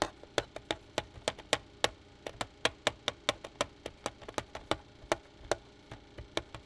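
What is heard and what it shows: Fingertips tap the face of a flat black plastic pocket calculator lying on a pad on the counter, making 25 short, dry, clicky taps in an uneven rhythm. Each tap has a hollow mid-pitched knock with a bright edge and dies away almost at once over quiet background hiss.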